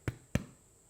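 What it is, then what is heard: Hollow-sounding baked bread loaf, cooked through. Two hollow, low taps on the end of a baked whole wheat bread loaf, each a short dull thump. The hollow sound shows the loaf is cooked through rather than doughy inside.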